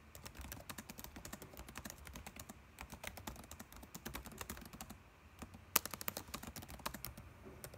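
Fingertips type continuously on a dark laptop keyboard with plastic keys, making a steady stream of short, bright clicks over a low background rumble. The typing pauses briefly around the five-second mark, then resumes with one sharper, louder keystroke before settling back into its rapid rhythm.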